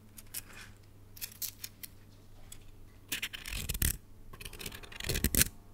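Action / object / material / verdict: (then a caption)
shake / plastic coil spring toy / plastic / none. A red plastic coil spring toy is collapsed in one hand and then stretched out with the fingertips. Its coils give off light, bright clicking and rattling, growing into louder, denser bursts toward the end over a low steady hum.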